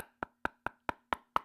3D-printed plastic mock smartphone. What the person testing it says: It's hollow. Ain't nothing in here but probably like some styrofoam and freaking peanut packing paper.